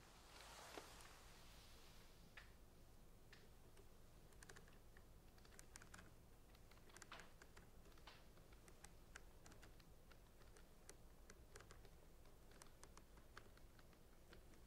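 Painted fingernails tap the sides of labeled clear plastic centrifuge tubes at the edge of a rack. Quiet, light, bright clicks come in an irregular patter over a steady low hum, with a brief soft rustle near the start.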